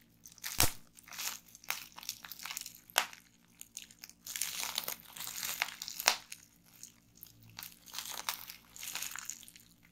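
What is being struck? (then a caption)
Plastic bubble wrap. A clear plastic bubble wrap strip with air-filled bubbles rests on a wooden table while both hands twist it and fingertips pop the bubbles. Sharp, bright pops stand out over a steady crinkling crunch of plastic, coming in irregular bursts throughout.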